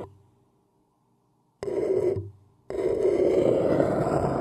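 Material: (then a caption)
Paper. A thin wooden stick scratches and taps an empty, upside-down white paper cup, whose hollow body gives a papery, hollow resonance centered around the mid range. A brief fading sound opens the clip, then after a pause comes a short burst of rough scraping, and after another gap a steady, dense scratch that continues to the end.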